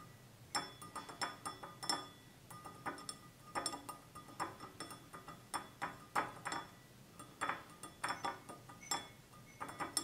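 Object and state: Stemless wine glass tapped.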